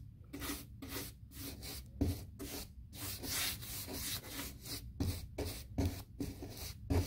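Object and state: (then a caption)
Painted fiberboard door being brushed. A paint brush scrubs around a raised square panel on a large white textured, painted molded fiberboard interior door. The scratchy back-and-forth strokes come in separate bursts of broadband hiss reaching bright highs, with a low thump underneath, and pause briefly between strokes.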